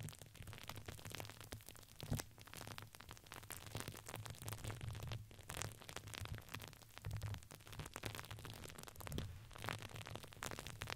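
A red patterned satin-like fabric ring with crinkly filling, placed around the mic, is squeezed and rubbed with fingers. The result is steady crackling crinkles with bright rustle over a low hum-like rumble.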